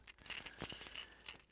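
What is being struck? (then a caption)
Sinking fishing lure with rattle balls inside. A fast-sinking fishing lure, nicknamed "the rat," is shaken by hand to sound its internal rattle. The clip is a quick, bright, high-pitched clicking rattle, like a small maraca, with almost no low end and very short ring.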